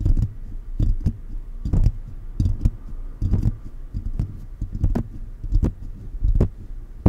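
Fingers of both hands, held close, tap and rub on the hollow mesh grille of a silver metal condenser microphone throughout. The result is a loose, uneven run of deep, boomy thumps, almost all low bass with short bright ticks on top, over a soft scratchy rubbing between the taps.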